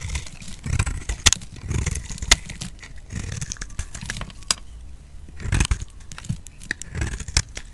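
A utility knife blade scrapes along a solid, hand-sized bar of white soap with a teal rim held in the palm, shaving off thin curls. Repeated dry, crackly scraping strokes carry bright high hiss over low, muffled handling rumble, with a few sharper clicks standing out.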